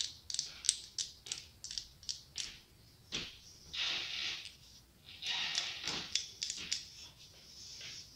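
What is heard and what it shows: A hollow glass-tile mosaic pumpkin, held in the palm, is tapped on its top and sides with long acrylic nails. Quick, bright clicks ring out in an uneven rhythm, broken up by a few longer, hissy scraping passages. There is almost no low end and no ringing tail.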